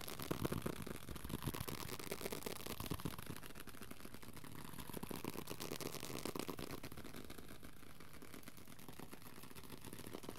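A small pocket-size paperback copy of the Dhammapada (Shambhala Pocket Classic), with solid paper pages and a card cover, is held close in both hands and tapped and scratched quickly with the fingertips. A dense, continuous stream of soft papery taps and scratches is heard, mostly low and muffled with a faint bright rustle.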